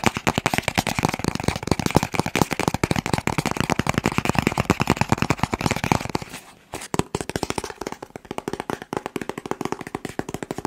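A long, hollow, blue and white cardboard box, held in both hands, is tapped rapidly with the fingertips close to the mic. The result is a dense stream of dry, hollow, low-pitched taps with very short decay. After about six and a half seconds there is a brief pause, then the tapping continues slightly softer and more spaced out.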